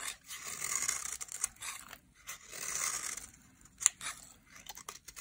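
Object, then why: Dry soap bar scraped with a metal blade. A metal utility-knife blade shaves and scrapes flakes off the edge of a dry, solid, rectangular green Dalan soap bar held in hand. Two long, bright, hissing shaving strokes are broken by crisp crunchy ticks, followed by a sharp snap and a few lighter scrapes and clicks. The sound is dry, close and high-pitched, with almost no low end or ring.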